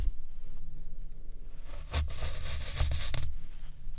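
A white plastic fork repeatedly pokes and presses into a square block of black, water-soaked floral foam with a soft, porous, dimpled surface, resting on a wooden tray while the other hand rests still on a second foam block. A low, steady rumble is broken by short, bright, crackly squelching bursts as the fork sinks into the wet foam, the strongest coming in the second half of the clip.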